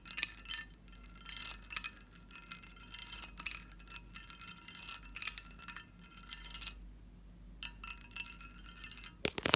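A medium, hollow, empty pressed-glass candy dish with a textured surface and a lid is tapped with fingernails. Bursts of quick, light taps give bright, chiming glass tinkles with very short ring. A near-silent pause comes just before the end, followed by a final sharp flurry.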